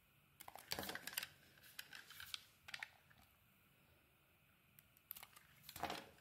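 A metal blade scrapes and cuts slices off a pink dotted solid bar of soap, now mostly white where it has been shaved, while the bar is held in the hand. Short, crisp, bright scraping bursts come in clusters with quiet gaps between them.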